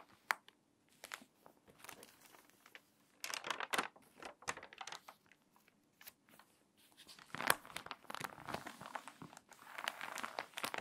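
Fingertips and long nails rub the wrinkled pages of a water-damaged paper magazine, turn a page and press the spread flat. Short, dry crinkles and papery rustles come in clusters with brief quiet gaps, bright and crisp with almost no low end. A louder swell of crumpling builds near the middle and end as the page is turned and flattened.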